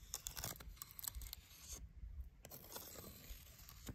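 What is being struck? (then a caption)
Dead tree branch, wood. A thin twig taps and scratches along the surface of a solid dead wooden tree branch with partly peeled, cracked bark. Short dry ticks and bright scraping rasps are heard over a soft low rumble, with the taps dying away almost instantly.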